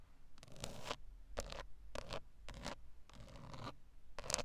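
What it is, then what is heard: Plastic steering wheel airbag cover. Long acrylic nails tap and scratch across the textured hard plastic airbag cover and plastic control buttons in the hollow-shell centre of a VW steering wheel. The result is a run of short, dry, bright scraping bursts with quick clicks, over a faint low rumble.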